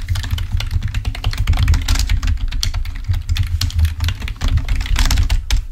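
Fingertips of both hands type rapidly on a full-size black plastic Microsoft membrane keyboard, wired, lying on a white table. Quick, dense key clicks tick brightly above a steady low hum that carries most of the energy. The clicking runs unbroken for the whole clip.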